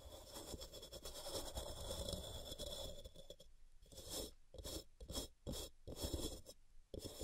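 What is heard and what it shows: Long purple-painted nails scratch and rasp a solid white, palm-sized rectangular block of pressed gym chalk (magnesium carbonate) resting on a cork mat, shedding chalk powder. A dense, continuous gritty scraping with a bright, hissy edge fills the first three seconds. It then breaks into a series of short, separate rasping strokes with brief quiet gaps between them.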